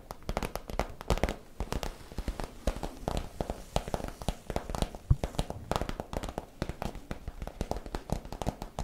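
Long nails scratch and tap along the creases of a crinkled, iridescent holographic PVC pouch while fingers crinkle the plastic. The result is a rapid, dense stream of short, dry taps and crackling crinkles with a thuddy low-end weight and very little ring.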